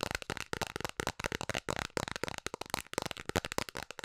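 Long nails tap rapidly on the face and rim of a round, hollow blue plastic container lid held in both hands. The result is a fast, irregular stream of sharp, dry clicks with almost no ring, bright on top with a hollow low knock underneath.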